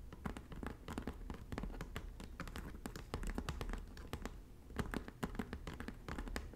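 Long natural nails on both hands tap and scratch the braided straw of the flat front panel of a hollow red woven straw bag. The sound is a dense, steady run of soft, dry, short taps with a low, muffled body and faint scratchy rustling between them.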